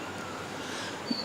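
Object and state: Nothing is struck.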